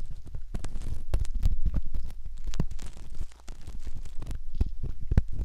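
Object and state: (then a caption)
Silicone ear being scraped. A curved metal ear pick scrapes and rubs the inner folds and canal entrance of a soft, skin-toned silicone ear model, likely the ear of a binaural microphone. Close, muffled scratching and rubbing sounds form a steady deep rumble with quick crackly strokes. The sound briefly quiets just past the three-second mark before resuming.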